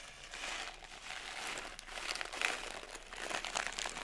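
A small plastic pouch partly filled with blue sugar sprinkles is held up, shaken and crushed by hand. It gives a steady, bright crinkling and rustling with granular crunches that swell and fade over about four seconds, with almost no low end.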